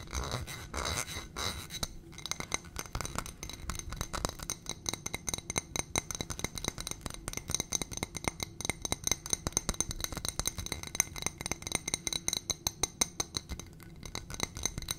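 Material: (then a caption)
Glass. A small ribbed glass coupe-style dish on a gold stem, filled with a white substance, is held in one hand and tapped and scratched on its rim and sides with long painted fingernails. Rapid, dense streams of short, bright glassy clicks and ticks run throughout, with a high ringing tone and scratchy rasps between the taps.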